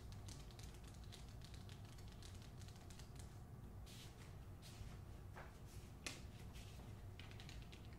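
Long acrylic nails tap quickly on the front cover of a hardcover novel with a glossy paper dust jacket while both hands hold the book. The result is a steady run of soft, bright clicks with a few brief sweeping scrapes, all over a constant low hum.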